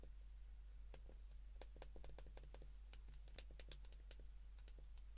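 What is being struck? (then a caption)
Plastic flip phone keypad buttons. Keypad buttons on a white plastic flip phone, held in the hands, are pressed with the thumb and fingertips, giving a quick run of short, sharp, bright clicks at an uneven pace. A steady low hum sits underneath throughout, and the clicks die away almost at once.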